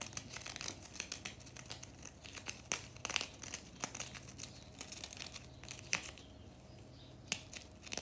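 Long natural nails scratch, flick and crumble a chunk of solid compressed powder bath bomb in the bath. The sound is a steady, bright crackling and gritty crumbling, punctuated by many sharp, quick ticks that stop almost instantly. A faint low hum runs underneath.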